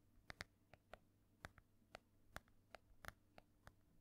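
Long nails tap and scratch across the cover of an ornate, solid embossed hardcover book held in one hand. About twelve short, dry, bright taps with no ring sit over a faint low hum. Quiet, soft scratching fills the gaps between them.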